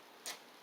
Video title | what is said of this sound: How to make Homemade Bread - Easy French Baguette from Scratch | you hear that hollow sound that means it's done